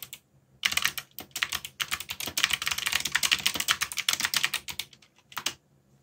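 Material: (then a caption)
Plastic. Fingertips type on a backlit mechanical keyboard with plastic keycaps, producing rapid bursts of sharp, bright key clicks centered around 2.3 kHz with almost no low end. The presses come in quick runs separated by brief pauses, each click dying away almost instantly.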